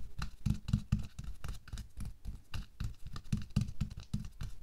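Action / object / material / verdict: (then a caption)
scrape / thin latex glove on a hand / latex / none. Bare fingertips and nails quickly scratch and tap over a thin pink latex/nitrile glove worn on a hand resting on a white table. A rapid, uneven patter of soft, dull taps mixed with brief brighter scratchy rasps is heard, with the weight mostly low and each hit dying away almost at once.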